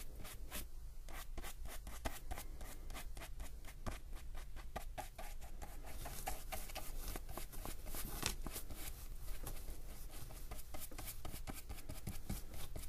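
A fine paintbrush rubs and strokes wet paint across the surface of a spiral-bound paper sketchbook page lying flat. A continuous run of soft, quick, bright swishing strokes plays over a steady low hum, with each stroke dying away almost at once.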